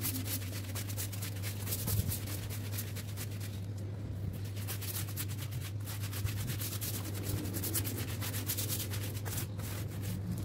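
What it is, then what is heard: Wet woven rug being scrubbed. A small flat woven rug with a geometric pattern, lying wet and soapy on a concrete floor, is scrubbed back and forth with a long-handled broom with orange plastic bristles. Steady, fast bristle strokes make a bright, wet rasping over a constant low hum.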